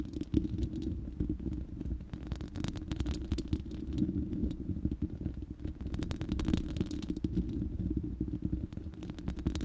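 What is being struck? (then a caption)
Steel mesh microphone grille. Long manicured nails of both hands scratch and tap across the uncovered, hollow, round steel mesh grille of a large studio microphone. The result is a dense, low, rumbling scratching texture, scattered with quick dry clicks and ticks that stop instantly without ringing.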